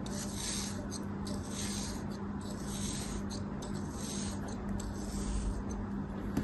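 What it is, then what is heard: Kinetic sand being cut. A thin metal blade slices repeatedly through a small, solid, purple cake-shaped kinetic sand mold held in the palm. The result is soft, gritty scraping and rasping cuts with faint bright hiss, over a steady low hum at a fairly quiet, even level.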